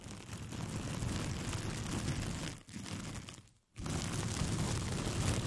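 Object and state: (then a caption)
Paper sheet. A thin white paper sheet with pink polka dots, curled into a hollow, empty tube around a foam-covered microphone, is scratched and rubbed with long painted fingernails. A dense, low, rumbling scratch with crinkly texture runs continuously, dipping briefly quiet twice before resuming.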